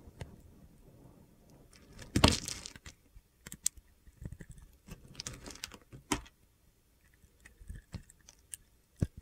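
A metal utility knife blade cuts slices and cubes off the edge of a solid light and dark blue bar of soap held in the hand. Soft, dry crunching scrapes come in short bursts, with one louder, longer gritty cut near the start, followed by scattered quiet slicing and sharp little clicks between near-silent pauses.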